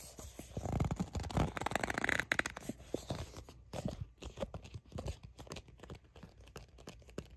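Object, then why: Soft plastic squeeze tube. Long nails grip and scratch a soft, seemingly full plastic sunscreen squeeze tube with a purple cap. Dense scratching and light crinkling mix with low, muffled squeezing rumbles, loudest in the first half. Irregular quick taps and clicks follow as the sound quiets.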